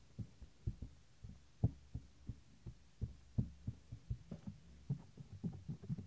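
Fingertips tap and rub the small, solid, white soft silicone ear of a 3Dio binaural microphone. The result is a string of quiet, dull, low thumps with almost no ring, spaced irregularly like a soft pulse, with faint rubbing between them.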